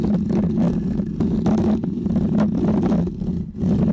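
Fingernails of both hands scratch a small, round, white textured foam cover on a microphone. The result is a continuous, close, muffled scratching rumble centered low around 215 Hz, with brief brighter rasping bursts rising and falling throughout.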